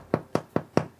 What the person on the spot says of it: Gõ nhẹ vào bánh: nếu nghe thấy tiếng trầm, nghĩa là bánh đã chín đều.